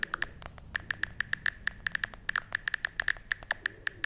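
A hand-sized smartphone in a pale pink plastic case is held in one hand while long red-painted nails tap and scratch its back and edges. About 27 quick, dry clicks are heard with almost no ring, each with a pitched tick near 1.7 kHz and bright upper edges. Faint scratching runs quietly underneath.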